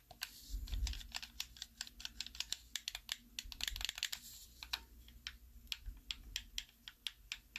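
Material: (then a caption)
Plastic. Thumbs press and click the buttons and thumbsticks of a black, hollow plastic Xbox 360 style handheld controller held in both hands. About 32 rapid, dry, clicky taps ring bright and high, each dying almost at once, over a soft low rumble.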